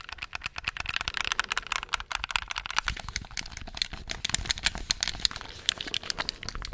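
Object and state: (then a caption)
Plastic game controller, buttons clicked. Fingertips and nails tap and click rapidly on the buttons of a handheld black plastic gamepad. The result is a dense, steady stream of short, dry, bright clicks with almost no ring and little low end.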